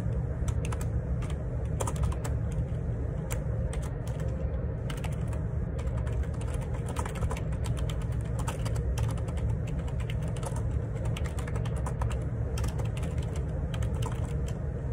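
Fingertips type steadily on the plastic keycaps of a black Perixx Periboard 612 wireless Bluetooth dual ergonomic split keyboard with a hollow plastic housing, resting on a grey desk. A continuous stream of soft, hollow clacks and taps carries bright key clicks over a heavy, thumpy low-end body.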